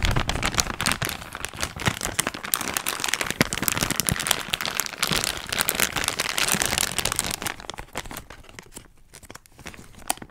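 A clear, thin, empty, hand-sized plastic zip-lock bag is held in front of the microphone and crinkled and crumpled by fingertips with long nails. Dense, bright, crackling crinkles run steadily for about eight seconds, then thin out and grow quieter toward the end.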